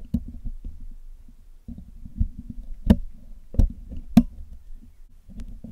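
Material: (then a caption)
Metal mesh. A metal needle pick scratches across the hollow black metal mesh grille of a Blue Yeti microphone, making a low, dense scraping rasp. Sharper clicking ticks stand out above it with a brief bright edge. Each sound is short and dry and stops almost at once, with pauses between bursts of scratching.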